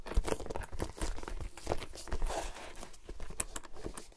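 Long nails tap and scratch the shiny upper of a glossy black patent leather ankle boot with a side zipper, held up close while hollow and empty. The result is a quiet, steady run of short, dry clicks and crinkly scrapes with a soft, muffled low-end body and almost no ring after each touch.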